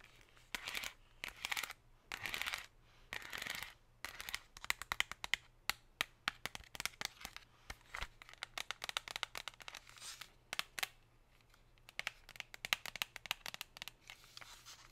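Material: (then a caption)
Plastic. Long pink nails tap and scratch a thin, empty, metallic plastic chocolate tray with chevron ridges, held up in the hand. Short crinkly scratching swishes open the clip, followed by a quick, uneven run of sharp, bright, crackling clicks that die away instantly. A faint, steady low hum runs underneath.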